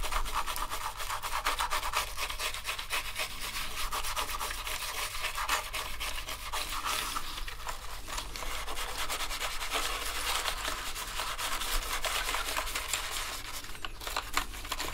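Two toothbrushes brush rapidly over the keycaps of a black plastic gaming keyboard. The result is a steady, dense scratching and rubbing with quick repeated strokes and a bright, hissy edge over a faint low hum. It runs at an even level throughout.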